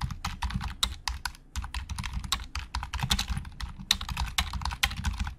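Fingertips type quickly on a black plastic Logitech keyboard with hollow plastic keys, producing a rapid, uneven stream of short, bright clacks that stop almost instantly. A steady low hum runs underneath the typing throughout.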